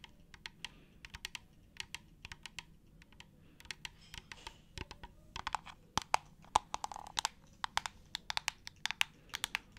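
Long acrylic nails tap and scratch the white plastic trigger head and nozzle of a clear, hollow plastic spray bottle partly filled with liquid. The result is about 44 sharp, dry, bright clicks centred near 870 Hz that die away almost instantly. The clicks start sparse and quiet, then grow denser and louder in the second half.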